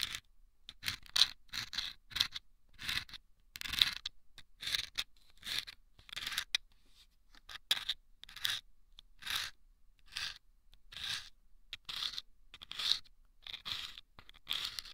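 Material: Sandpaper.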